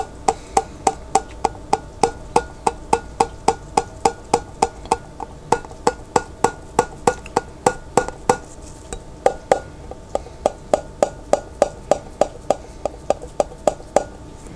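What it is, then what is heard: Pickle jar lid tapped with fingertips. Fingertips tap the white printed lid of a large glass pickle jar that is partly filled with water and held sideways. About 48 short, dry knocks with a faint pitched ring near 555 Hz come in a quick, uneven rhythm of roughly three to four per second. Each knock dies away almost at once.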